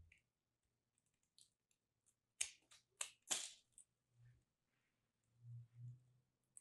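A small solid piece of dried soap coated in blue-pink-lilac starch, held in fingers with long nails, is cut and scraped with a metal craft blade so that it crumbles. A cluster of sharp, bright, crisp crunches and scrapes comes in the middle of the clip. Faint, soft low thuds follow near the end.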